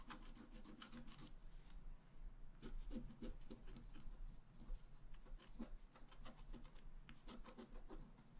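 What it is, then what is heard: Scratch-art card being scratched. A wooden stylus scratches the black coating of a flat scratch-art card lying on a table, the page held flat by the other hand. Steady, dry rubbing strokes come in quick runs with short pauses, each a soft raspy scrape with bright, brushy edges over a low hum.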